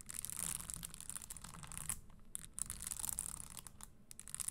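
A single red spiked leather Christian Louboutin stiletto pump, hollow and empty with a leather insole, is held in the hand while long green nails tap and scratch over its small spikes. The result is a dense, bright, crackling scratch with a steady high hiss and soft low rumble, broken by brief quiet gaps.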